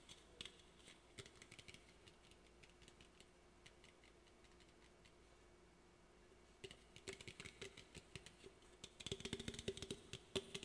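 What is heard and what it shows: Fingernails tap and scratch the sides and top of a standard aluminum Olipop drink can held in both hands, giving quiet, bright, clicky taps with a faint metallic ring. The taps thin out to soft scratching in the middle, then return denser and louder toward the end.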